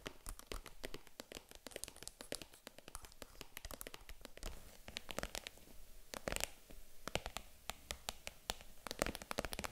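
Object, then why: Small faux leather handbag with metal zipper. Long nails tap and scratch a small, hollow pink faux vegan-leather mini handbag, first across the front and then along the side near its metal zipper. The result is a dense run of quick, dry taps and scratchy rustles with crisp, bright clicks that die away almost instantly.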